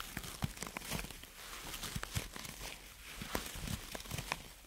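Long natural nails scratch and rub a hand-sized orange ball of soft silicone or rubber covered in flexible spikes. The result is a steady, quiet, crinkly rustle with bright, sharp ticks and soft low bumps scattered throughout.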